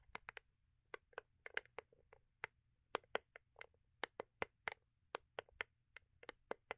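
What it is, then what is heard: Cardboard gift box with foil covering. Long acrylic nails tap and scratch a small, hollow, rigid cardboard gift box with a holographic foil-paper covering, held in the hands. Around 24 quiet, dry, sharp clicks with bright edges come in an irregular rhythm. Each one stops instantly with no ring, and there are faint scratchy rustles between them.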